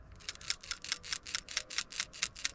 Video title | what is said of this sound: 2014 Kia Rondo: Replacing a PCV Valve (Positive Crankcase Ventilation) on a 2.0 Liter GDI Engine | Wow. It is slick inside that valve. And it clunks really loud and easy.